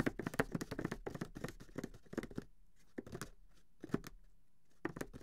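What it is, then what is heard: Cardboard game box tapped and scratched. Fingertips tap and scratch along the sides and top edges of a closed, grey cardboard Monopoly box, a medium, flat, hollow box holding the game. For the first two and a half seconds there is a dense run of quick, dry taps and scratchy rubbing. A few isolated, short hollow taps follow near 3, 4 and 5 seconds, with quiet gaps between them.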